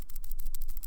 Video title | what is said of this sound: Setting up your Arduino kit | this has a little rolling ball inside of it